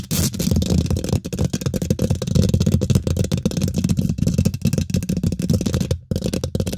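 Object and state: Metal mesh microphone grille.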